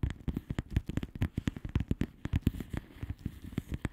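Long manicured nails of both hands tap rapidly on a flat plastic bubble wrap mailer with hollow air bubbles. The result is a quick, irregular run of soft, dull, muffled thuds, mostly low in tone, with almost no ring after each tap.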